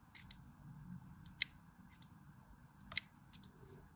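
A thin metal blade scores diagonal lines across a solid cream bar of soap held in the palm. Eight short, crisp, bright scraping clicks come at uneven intervals over a faint low rumble, each dying away almost instantly.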